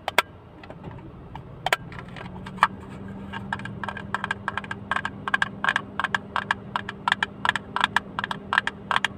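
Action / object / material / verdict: tap / small hinged plastic case / plastic / none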